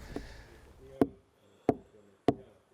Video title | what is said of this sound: Master of an old house / Vana maja meister | logs have cracks in them and this changes the sound – it sounds hollow although the log itself is decent